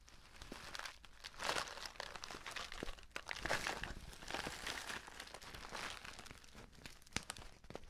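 Fingertips and nails squeeze and rub the surface of a filled, orange-printed stand-up paper tea pouch. The result is a steady stream of bright, dry crinkling and crackling, swelling into louder bursts and ending with a few sharp snaps.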